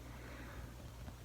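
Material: Nothing is struck.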